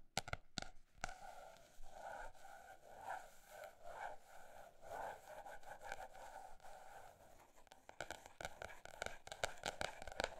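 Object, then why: Paper notebook. A paper notebook is tapped with fingertips, both fast and slow. Quiet, dry taps come in irregular bursts, with a softer mid-range scratching rustle between them. A quicker run of sharp taps closes the clip.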